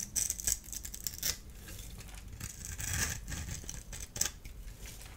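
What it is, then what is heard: Dry bar soap. A solid orange-and-white striped dry soap bar has its crumbly surface rubbed and scraped with fingers and a small blade tool. The result is a run of dry, bright scratching and crackling sounds, with sharper, louder scrapes standing out near the start, around the middle, and toward the end.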